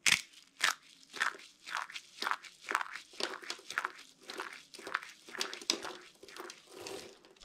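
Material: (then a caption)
Soap. Hands crush brittle, dry, minty green-and-white soap curl fragments in their fists, rub them into the pile, and hold a handful of broken pieces in cupped palms. Repeated dry, bright crunches come in bursts about every half second, each with a crackly, crinkling texture and almost no low end. The soap breaks down into smaller broken pieces.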